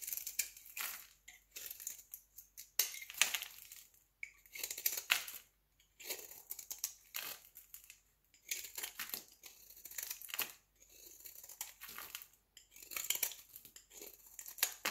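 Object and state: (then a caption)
Bar of soap scraped with a blade. A solid rectangular peach bar of soap held in the hand is scraped with a utility knife blade in quick, repeated passes. Each pass gives a dry, bright, crumbly scratching, with almost nothing in the low end, and short pauses between bursts.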